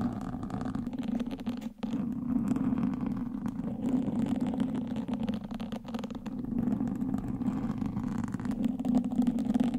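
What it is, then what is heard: Foam microphone windscreen scratched with wooden sticks. Two wooden sticks held between fingertips with long nails scratch the surface of a black foam windscreen on a microphone. The result is a dense, continuous scratchy rumble centred in the low-mids around 230 Hz, with little high content. The sound pauses briefly near the two-second mark.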